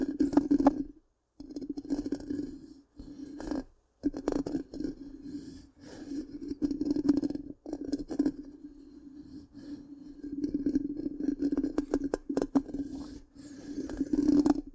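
Long pink-painted nails scratch and tap the hollow, black, round metal mesh grille of a large microphone. The result is a dry, rasping scrape over a steady resonant tone near 285 Hz, punctuated by sharp, bright clicks and taps. Brief silent gaps fall between the bursts.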